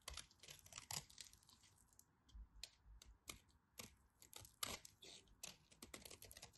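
A knife scrapes crisp crumbs off the scored face of a partly carved, dry orange bar of soap. It makes a quick run of bright, crackly scratches, short and dry, that come in uneven bursts with brief pauses between them.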